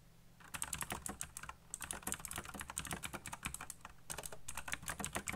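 Fingertips type fast on a colorful backlit plastic mechanical keyboard with black plastic keycaps, producing rapid, bright, crisp clacks over a low thud from each keystroke. The typing comes in dense bursts with brief pauses, and each click dies away almost instantly.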